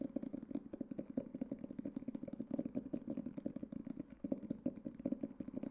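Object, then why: Hardcover book. A solid black hardcover book is tapped rapidly and steadily with fingertips and nails for about six seconds. Each tap is a short, dull, muted knock centered in the low-mid range, with almost no bright content and no ring. The taps run together into a continuous, even patter.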